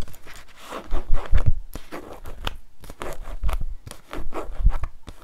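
Long nails scratch and tap along the back cover and page edges of the same paperback book. Dry, papery scrapes and rustles come in uneven bursts, with short soft taps that stop quickly and carry a dull low thump.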